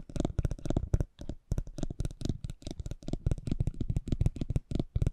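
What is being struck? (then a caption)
Thin cardboard trading card scraped with a spiked metal wheel. A metal spiked pinwheel, a Wartenberg wheel, is rolled across a small, thin cardboard racing trading card held in the fingers. It makes rapid bursts of dry clicking and scratching with a low, muffled body and a bright, crisp edge. The bursts come in quick, uneven runs with brief pauses between them.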